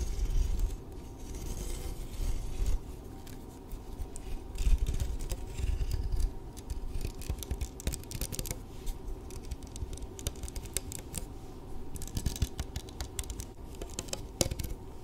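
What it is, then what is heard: Badminton racket strings. A blue badminton racket with a thin metal or composite frame and taut synthetic string mesh is held close in front of the microphone while fingernails scratch and pluck across the strings. The result is a steady run of dry, rapid scratching and small plucked ticks over a heavy low rumble, with bursts of brighter rasping scattered throughout.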